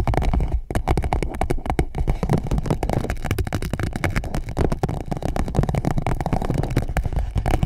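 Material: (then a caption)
PVC plastic. An empty clear PVC pouch wrapped around a microphone is tapped and scratched by long nails. The result is a close, dense run of crinkly taps and scratchy rustles, heavy in low thumping tones with only a thin bright edge. It keeps a steady, busy level for about eight seconds.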